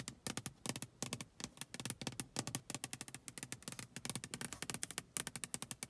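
Long acrylic nails rapidly tap and scratch the inside of a closed glass car side window, with rain droplets on the outside of the pane and the side mirror visible. The result is a quick, uneven run of short, sharp clicks with bright, crisp edges and almost no ring, under a faint scraping texture.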